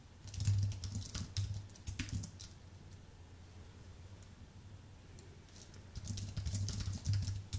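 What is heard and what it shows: Fingertips type on a white Apple full-size keyboard with an aluminium base and plastic keys. Quick runs of soft, dull key taps with a low thud and bright clicky edges fill the first two and a half seconds, then the sound drops to a quiet pause before a second flurry of typing starts at about six seconds.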